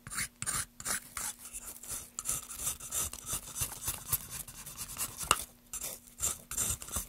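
A solid pale wooden block, held upright in a gloved hand, has its surface scraped quickly with a small tool. The result is a rapid run of short, dry, rasping scrape strokes, bright and hissy, each stopping dead with almost no ring. A faint steady low hum sits underneath.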